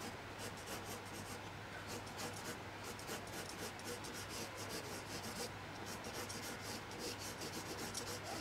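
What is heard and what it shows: A blue colored pencil shades an area of a drawing on a single thin sheet of white paper that lies flat on a table, held in place by the other hand. Its tip makes repeated soft rubbing and scratching strokes, heard as a steady, quiet rasp with bright, high bursts on each stroke over a faint low hum.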